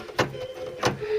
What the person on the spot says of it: So when I flick the bar now, we don't get those annoying rattles.